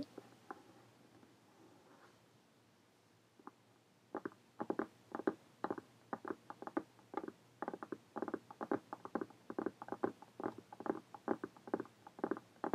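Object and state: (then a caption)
Faux leather hardcover journal. Long painted fingernails of both hands tap rapidly on a brown faux leather hardcover journal with an embossed emblem, lying flat and closed. After a quiet start with a few faint, scattered sounds, a dense run of quick, dry, irregular taps begins at about four seconds and continues to the end. Each tap has a muffled mid-range tone that dies away almost instantly.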